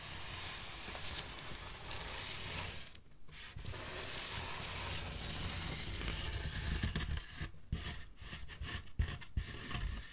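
Long black fingernails scratch and rub a large solid styrofoam packaging block with molded ridges. The result is a steady, dry, hissy scraping with a bright edge and a low rumble underneath. A brief pause near the start gives way to choppier, sharper scratches toward the end.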